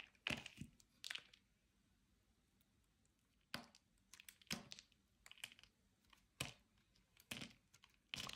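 A metal utility-knife blade shaves and cuts into a solid, dry, hand-sized rectangular white bar of soap held in the hand, scraping off thin, crisp slices. Short, bright, crackling scrapes come in irregular bursts with quick decays, separated by near-silent pauses.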